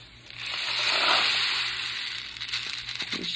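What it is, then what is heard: Homemade rain stick filled with rice and couscous. A homemade cardboard-tube rain stick, capped at the ends with muffin-tin liners held by rubber bands and filled with rice and couscous, is flipped and shaken to test it. The grains rush through the tube in a bright, hissing cascade that swells to its peak around one second, then fades into a series of smaller rattling bursts. It works as intended.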